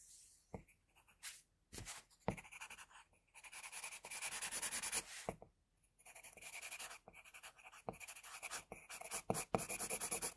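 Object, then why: Pencil on drawing paper. A pencil rapidly scratches across a flat white drawing paper sheet, shading the ear and side of a drawn head. Bursts of bright, dry scratching strokes are separated by brief pauses and sharp little taps of the lead against the paper.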